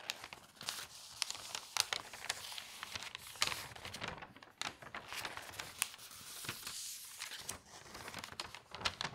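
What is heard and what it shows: An open newsprint newspaper has several of its pages turned and smoothed flat by fingertips. Sharp, bright paper crinkles and rustles come in quick, dry bursts with soft swishes between them. The sound is mostly high-pitched with almost no low end.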